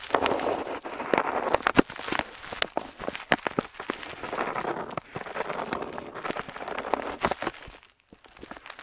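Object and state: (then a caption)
Paper sheet scratched by a metal pen nib. The metal nib of a dip pen scratches across a flat paper map sheet while outlining coastlines. Dense, dry scratching strokes fill the midrange, broken by many sharp, bright clicks and ticks. The scratching grows quieter and sparser toward the end.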